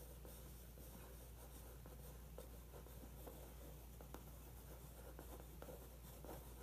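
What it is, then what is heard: Pencil tracing on glossy magazine paper. A pencil tip traces the outline of a weightlifter photo on the thin glossy paper of an open magazine spread. The result is a very quiet, continuous soft scratching with faint light ticks over a steady low hum.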